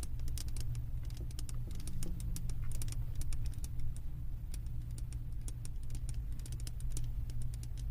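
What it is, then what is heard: Glass candle jar. A glass candle jar full of wax is held up while long nails tap and scratch its glass bottom and lower edge. Quick, bright clicks and light scratches come in a rapid, uneven patter over a steady low hum.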